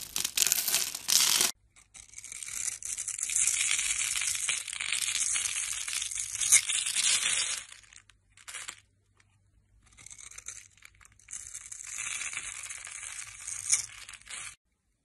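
A metal knife blade scores a grid into the surface of a solid, hand-sized red soap bar held in the fingers, then cuts it away in small cubes and shavings. The result is a dense run of bright, crisp scraping and crunching, almost entirely high-pitched with no low end, broken by a short pause before the cutting resumes.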